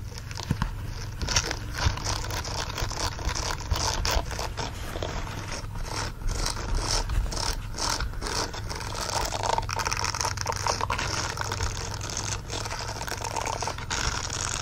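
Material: Silicone.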